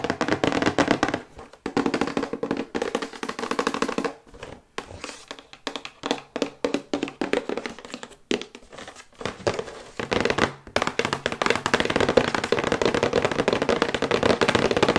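Long white acrylic nails tap rapidly on a thin, glossy printed cardboard box for a sonic toothbrush, held upright. Dense, light, hollow clicks sit mostly in the mid-range, with a few brief pauses between bursts. Each tap dies away almost instantly.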